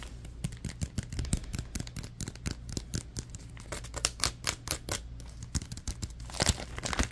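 A crumpled orange plastic bag is crinkled and squeezed in the hands, producing a dense stream of sharp, bright crackles and rustles. The crackles come in quick bursts over a steady low hum, growing louder and fuller near the end.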